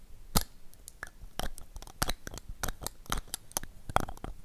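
Long acrylic nails tap rapidly on a small, pink, hollow plastic toy lipstick tube, making a quick series of sharp, dry, bright clicks that die away almost instantly. Near the end, the tube is opened to show the pink lipstick inside.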